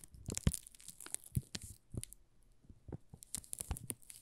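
A solid pink rose soap bar wrapped in plastic film is held in both hands while fingertips crinkle and scratch the film. The result is irregular, soft crackles and crinkles with sharp, bright edges and low thumps, each dying away almost instantly.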